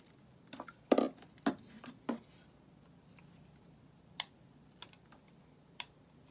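A small solid white bar of soap, held in the fingers, is shaved with a metal utility blade, and the flakes fall onto a pile of shavings. A cluster of short, crisp scraping strokes comes in the first two seconds, followed by a few sparser, quieter scrapes against near silence.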